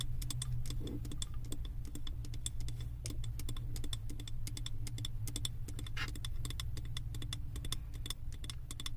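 Long acrylic nails tap rapidly on the side of a large glass candle jar filled with wax and printed with a ski lodge design. The taps are quick, dry, bright clicks with a ringing tone near 3.5 kHz and almost no decay, over a steady low rumble.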